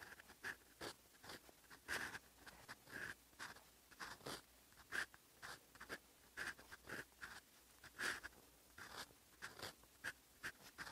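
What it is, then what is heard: Fountain pen nib scratching on paper. A steel fountain pen nib scratches across a sheet of flat lined writing paper on a desk as a hand writes Korean characters in yellow-green ink. The quiet, dry scratching comes in about twenty short, separate strokes, some with a faint thin squeak around 1.6 kHz and bright hiss at their edges.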